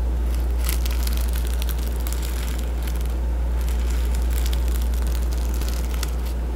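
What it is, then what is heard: Board book with plastic sequin patch. Fingertips and nails rub and scratch across a patch of reversible plastic sequins on the front cover of a medium hardcover children's board book held upright. The sequins give bursts of bright, crinkly flipping sounds over a steady low hum that continues through the whole clip.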